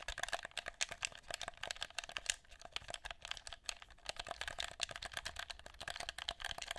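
A black, hollow, handheld plastic game controller is held close to the recorder and tapped and clicked with fingertips on its buttons and shell. The result is a rapid, uneven run of sharp, dry, bright clicks and taps with almost no low end, each one stopping instantly without any ring.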